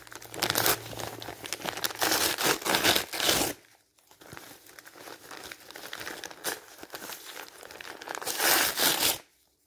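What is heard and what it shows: A thin, light-coloured printed magazine page is held in the hand while fingers crumple and tear it. Dense, bright crinkling and ripping bursts come loud for the first few seconds, drop to softer, scattered crackles, then swell into another loud burst before cutting to near silence at the end.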